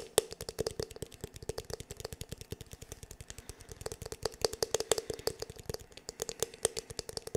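Fingertips and nails tap quickly on the black, glossy, hollow plastic back of a paddle hair brush. The result is a rapid, uneven stream of short, dry clicks, each carrying a hollow ring around 440 Hz with bright, crisp tops.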